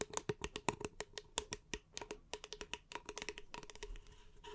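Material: Paper.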